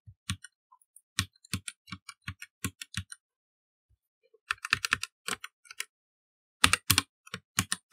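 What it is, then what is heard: Plastic mechanical keyboard being typed on. Fingertips type on a black mechanical computer keyboard with plastic keycaps set in an inset, giving quick, dry clacks that each pair a low thump with a bright click. The keystrokes come in three bursts separated by short pauses, with almost no ring after each tap.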